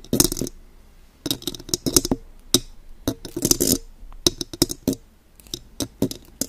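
Long gold metal claw fingertips tap and scratch a silver metal condenser microphone with a mesh grille and hollow body. Clusters of quick, bright metallic clicks and scraping bursts come in irregular flurries, each tap dying almost instantly with little ring, separated by short quiet gaps.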